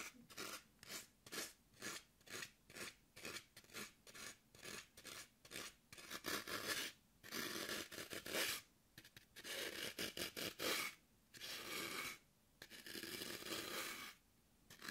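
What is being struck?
Green floral foam block.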